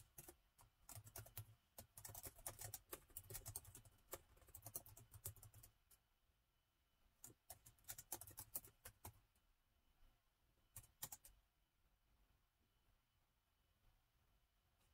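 Fingertips of both hands type on the black plastic keys of a gold metal-look laptop with a hollow body. A dense run of sharp, bright clicks over a soft low thump lasts about six seconds, followed by a near-quiet pause. Two shorter bursts of keystrokes follow before the clip fades to quiet.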